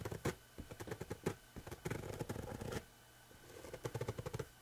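Fingertips and nails scratch along a rough, coarse woven fabric, producing quiet, dry scratching and rustling strokes. The scratches come in quick bursts and clusters separated by brief near-silent pauses, with a soft, muffled, low-heavy texture.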